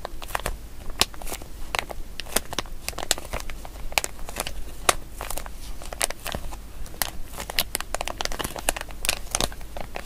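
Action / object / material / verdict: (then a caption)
scrape / small plastic zip-lock bag / plastic / none. Fingertips and nails crinkle, squeeze and press the zip closure of a small, empty, glossy printed plastic zip-lock bag with Toy Story characters, held in both hands. Dense, crisp crackling runs throughout, punctuated by sharp, bright clicks and snaps that die away almost instantly, over a steady low background rumble.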